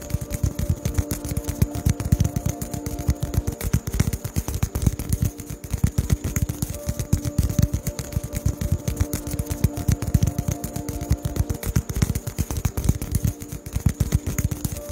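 A fingertip taps rapidly on a small white solid expanded-polystyrene foam ball held in front of the microphone. The taps come as a dense, uneven stream of short, dull, low thumps that die away almost instantly, over a faint steady hum.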